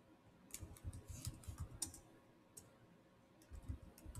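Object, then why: Plastic laptop keyboard. Two hands type fast with bare fingertips and short nails on the black plastic chiclet keys of a Samsung laptop keyboard set in a solid silver body. The result is quick bursts of dry, bright key clicks over soft low thuds. A quieter pause in the middle separates the flurries.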